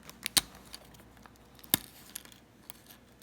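A low-carb almond-flour cheddar cracker is bitten in a crunch test, giving two sharp, bright crunches with faint crackles between them over a quiet background. The cracker is definitely crunchy.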